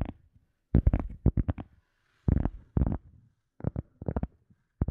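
An EVA foam sponge is tapped again in quick bursts of soft, muffled thuds separated by short pauses. The sound is deep and dull, with almost nothing bright above it, and each tap dies out almost instantly.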